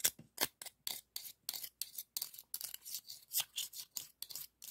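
The ribbed edge of a white scallop shell is rubbed and scraped across the ribs of a hollow, ribbed, pinkish scallop shell held in the hand. About 18 short, separate rasping strokes sound bright and scratchy, with almost no low end. Each stroke stops dry, with no ring after it.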